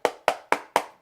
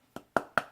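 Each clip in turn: First: Four quick, even taps with a mid-pitched, papery knock that dies fast: a plastic magazine that sounds hollow. Second: Three short, bright taps with almost no ring: a plastic magazine that sounds solid rather than hollow.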